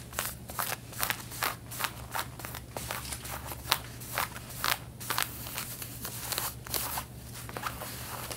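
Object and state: Denim fabric scratched with fingernails.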